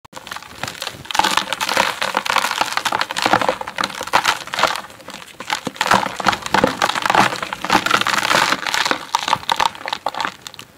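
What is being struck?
Chunks of dirt crushed by hand.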